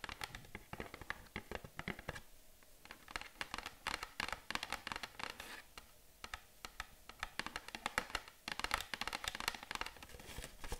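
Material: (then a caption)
Cardboard. A small, hollow printed cardboard box held in both hands is tapped and scratched on its front face by long acrylic nails. Dense runs of quick, dry clicks mix with scratchy scraping, with bright, crisp attacks that die away almost instantly. The bursts come in uneven clusters with short quieter gaps between them.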